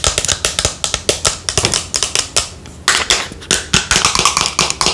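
Long nails tap and scratch the body of a pale green plastic lotion bottle with a white cap, held in the hand. About 28 quick, bright, clicky taps come in uneven bursts, with a softer scratching rasp in the gaps and very little low end.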